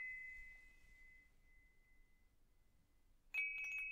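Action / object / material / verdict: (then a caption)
strike / hanging metal tube wind chime / metal / none. A hanging wind chime with hollow metal tubes is held up and swayed so the tubes ring. A clear tone near 2.3 kHz slowly fades over about two and a half seconds, then a fresh strike near the end brings back a bright, shimmering ring.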